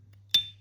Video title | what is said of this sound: Ping sound ST Dupont lighters #classicluxury #lighter #dupont #vintagelighters | Slightly ping but not as sharp and loud as the other ones